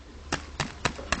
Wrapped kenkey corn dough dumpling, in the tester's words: it makes that kind of thumping sound and it's also quite springy